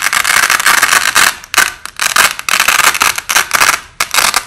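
Overlapping white nylon hook-and-loop (Velcro) strips, with the top strip peeled off by hand and repositioned, played back slowed down. Long, bright, crackling rips come in repeated bursts, each fading between pulls, with a gritty texture centered around 1.5 kHz and almost no low end.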